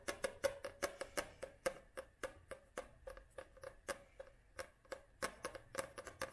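Long nails tap and scratch the glossy card front cover of a paperback book held upright, giving a quick, irregular run of about two dozen dry, clicky taps. Each tap has a faint hollow tone around 530 Hz with a bright edge, and dies away almost at once with light scratching between.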